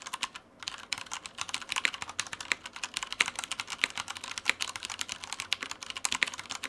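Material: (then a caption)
Plastic. Fingertips of both hands type continuously on a black Typhon Mars Pro tenkeyless mechanical keyboard with Cherry brown switches, plastic keycaps and a light frame, resting on a white desk. A rapid stream of dry, bright plastic key clacks, with a brief pause near the start, dies away almost instantly after each press.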